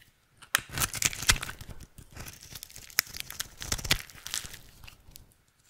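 A utility knife blade carves flakes off a rectangular, solid, dry red soap bar held in the hand. The result is a run of crisp, bright scraping and shaving sounds with sharp crackly onsets and dry rasps between them.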